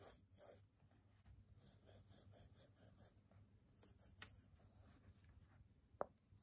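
A graphite pencil scratches and scribbles across the top sheet of a small, square, solid stack of brown kraft paper sticky notes resting on a table, while the other hand holds the pad. Soft, dry, rhythmic scratching strokes and a light rasp run throughout at low volume. A short, sharp tick stands out near the end.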